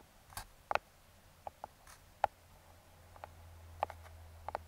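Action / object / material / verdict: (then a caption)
tap / small cardboard box tapped with metal fingertip picks / cardboard / none. Metal claw fingertip picks tap rhythmically on the top of a small, closed brown kraft cardboard box. Nine short, dry taps sound at an uneven pace over a faint low hum, each centered on a hollow mid-range knock around 830 Hz with a brief bright click and almost no ring.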